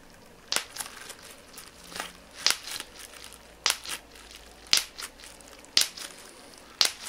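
A small piece of clear plastic bubble wrap is squeezed and twisted in both hands, with the bubbles popped by fingertips. Six loud, bright, sharp pops ring out at roughly regular intervals, with softer crinkling and smaller crackles between them.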